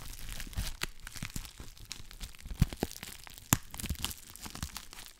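A clear plastic bubble wrap sheet is stretched, crinkled and scratched with long black nails, giving a dense, irregular crinkling and tearing-like rustle. Sharp crackling snaps stand out now and then, with quick bright transients over a low, muffled rumble.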